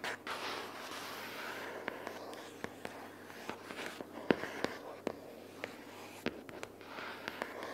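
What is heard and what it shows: Long purple fingernails scratch and tap a pink paperboard notebook case lying flat with paper inside. A soft, papery scratching hiss runs throughout, broken by a scattered series of sharp, dry taps that stop almost instantly with no ring.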